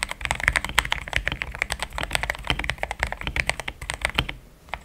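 Fingertips of both hands type steadily on a compact pink-and-cream plastic mechanical keyboard with thick XDA-profile keycaps, Gateron Yellow switches and a polycarbonate plate, resting on a desk mat. A quick, continuous stream of short, bright clacks with a muted low thud beneath them, each keystroke dying away almost instantly. The typing thins out briefly near the end before a final few strokes.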